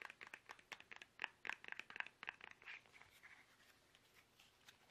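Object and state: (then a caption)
Plastic toothpaste tube. Fingertips tap fast on a small, soft, hollow, squeezable plastic toothpaste tube held upright in both hands. The result is rapid, uneven, dry, bright clicks with a hollow midrange tone near 1.8 kHz and no ring. The taps are dense and loudest in the first three seconds, then thin out into quieter, sparser ticks.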